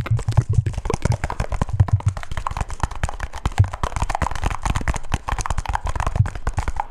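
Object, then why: Small round metal tin or grinder. A small, round, hollow metal tin or grinder, silver with a blue band and a red top, is held up and tapped on its sides with fingertips and nails. The result is a rapid, steady stream of dry clicks and taps over a deep, hollow thump near 100 Hz. Each tap dies away almost instantly.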